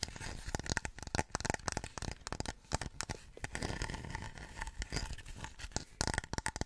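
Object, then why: Small stone warrior figurine. A small, solid-looking Chinese terracotta-style stone warrior statue, about forearm length, is held in both hands close to the microphone and scratched and tapped with long nails and fingertips. Dense, dry scratching and crackly, tearing-like rasps mix with rapid, short taps and low, dull thuds. Each sound stops at once with no ringing.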